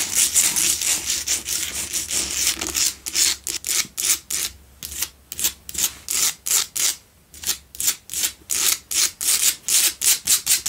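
Long nails scratch the front and top edge of a lit pink Himalayan salt double candle holder made of solid salt. The scratching is bright and gritty, with almost no low end. It starts as a dense, continuous rasp, then breaks into separate rhythmic strokes that come quickly but unevenly.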